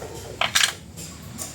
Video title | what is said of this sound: MITSUBISHI ADVENTURE P1: Dami sira Wigel ang manibela, may lagitek pag nag preno etc - DIRT MECHANIC | may uga lang. Maluwag yung mga clip.